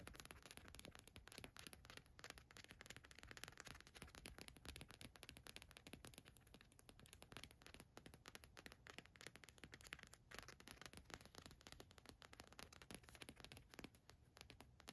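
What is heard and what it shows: Long nails scratch across a black cotton t-shirt with a large gold watch graphic print, lying flat on a fluffy rug. The quiet, continuous scratching is made up of dense, rapid crackles and rasps that spread from low rumble up to a bright, hissy top, with no pauses across the clip.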